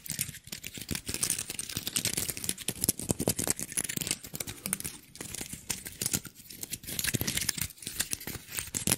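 A small, dry brown pine cone with solid woody scales is held in the hands while fingertips and nails scratch and flick the scales close to the mic. The result is a dense, continuous stream of sharp, dry crackles and clicks, bright and crisp with almost no ring, pulsing in short bursts throughout.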